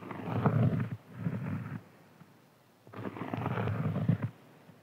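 Fingernails of both hands scratch and tap on a large, round, flat, solid cork board. This produces low, muffled, rumbling scratching in three bursts: two short ones close together, then a longer one after a quiet pause.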